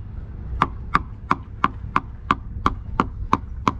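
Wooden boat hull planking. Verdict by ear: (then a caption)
Sound. The soft plastic end of a screwdriver handle taps along the wooden planking of a boat hull, spaced about every six inches. There are ten short, sharp knocks at a steady pace, each with a bright ringing tone and almost no decay. The sound is that of good, sound wood rather than a dead thud, since the bad wood in this hull was recently replaced.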